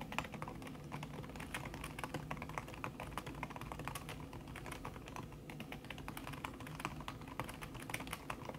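A thin backlit aluminium keyboard with plastic keys under a red silicone skin is typed on fast with the fingertips and long red-painted nails. The result is a dense, steady stream of soft, muffled tapping clicks with short, dry attacks and a low background hum.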